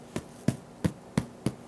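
The bottom of a freshly baked, still-warm crusty no-knead artisan loaf is tapped six times, giving short, dull, low hollow knocks at a steady pace. The hollow sound shows the bread is baked through and done.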